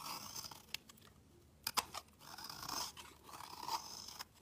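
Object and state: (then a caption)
Black soap bar being scraped. A solid black round bar of soap is scraped with a metal utility knife blade, peeling off fine shavings. Soft, bright scraping strokes come in bursts with a few sharp clicks between them.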